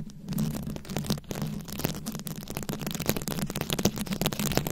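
Long nails scratch and tap across the rhinestone-studded head of a rhinestone-covered microphone, making a continuous crackly, gritty rasp with many quick, sharp clicks. The taps stand out as bright, dry ticks that die away almost instantly. A low steady hum around 145 Hz runs underneath throughout.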